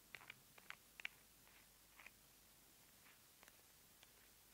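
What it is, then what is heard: Plastic squeeze tube tapped with nails. Long nails tap and scratch along a small white plastic cosmetic cream squeeze tube held horizontally. About eight quiet, sharp, bright clicks come at an uneven pace, with no ring after them, over faint soft scratching.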